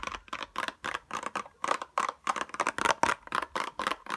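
A small pink cardboard tweezers box with a clear plastic window is held up and tapped fast with long nails, giving about 17 quick, dry, hollow clicks. Each tap is papery with a plasticky edge, centered in the mids around 930 Hz, and stops almost instantly with no ring or low thump.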